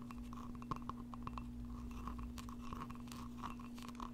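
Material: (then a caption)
Glass. Long painted nails and fingertips tap and scratch the outside wall of a small, thick-walled glass mug with a flower print and a handle, apparently empty and held in one hand. Quiet, rapid clicks and soft scraping carry a faint glassy ring near 1 kHz over a steady low hum.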